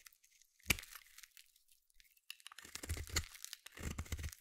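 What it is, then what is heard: Soap bar being carved. A small metal blade scrapes and carves flakes off the edge of a palm-sized solid blue bar of soap. A sharp, bright crack comes first, then faint crisp scratches, followed by two longer bursts of dense, crunchy scraping with a low thud underneath.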